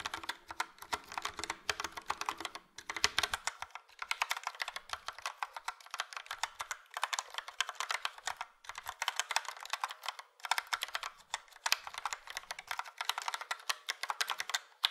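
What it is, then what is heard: Plastic mechanical keyboard. Fingertips of both hands type steadily on a full-size plastic Logitech POP Keys mechanical keyboard with a yellow frame and round dark grey and light grey typewriter-style keycaps. The clicks and clacks are bright, crisp and short, coming in quick bursts separated by brief pauses. A faint low rumble sits under the first few seconds, then drops away.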